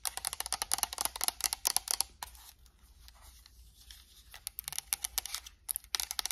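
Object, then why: Plastic game controller. Long acrylic nails tap rapidly on a white and black PS5 plastic controller, hitting the touchpad, the buttons and the hollow plastic shell. Sharp, bright clicks come in quick bursts at the start and the end. In between is a quieter stretch of softer, scratchier tapping.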